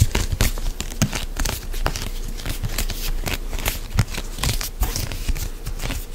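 A medium white plastic CeraVe moisturizing lotion pump bottle, hollow and apparently filled, is held close and gripped, squeezed and rubbed with fingertips and nails. It produces a steady run of dry crinkling, scratching and tapping with soft low thumps underneath. The sounds are short and quickly damped.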